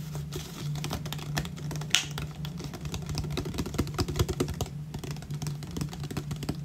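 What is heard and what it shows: Fingernails tap and scratch the ridged body of an empty, hollow 500 ml clear plastic water bottle held close to the camera. A rapid, uneven stream of dry, bright clicks and scrapes plays over a steady low hum, with one sharper tap standing out near the two-second mark.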